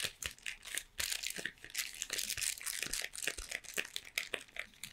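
A full, long triangular Toblerone cardboard box, possibly in plastic wrap, is held in both hands and tapped and scratched with long painted nails. The result is a rapid run of dry, bright taps and crinkly scratches that stop short, with almost no low end.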